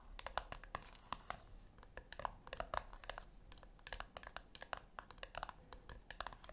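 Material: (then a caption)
Metal. Long acrylic nails tap on the flat top of a small, round, brushed-silver metal tin resting on a white cloth. The taps come as a quick, irregular run of soft, dry clicks with a bright edge and almost no ring, some faintly tonal around 750 Hz.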